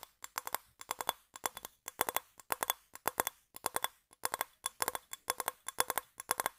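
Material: Shell.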